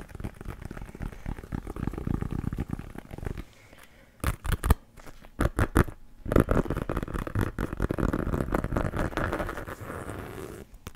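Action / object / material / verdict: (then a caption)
tap / leather American football / leather / none. Fingertips tap and scratch a brown pebbled-leather American football, hollow and inflated, held close to the microphone. Dense rustling scratches with a low, hollow rumble fill the clip, broken in the middle by a short run of sharp, distinct taps before the scratching resumes.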